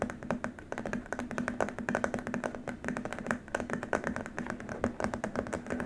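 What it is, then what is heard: Plastic keyboard wrist rest. Both hands tap and lightly scratch with fingertips and short nails on a long, flat white plastic keyboard wrist rest. The result is a rapid, dense patter of short, dry clicks with almost no ring. A soft scratchy rustle runs underneath, with a faint steady low tone in the background.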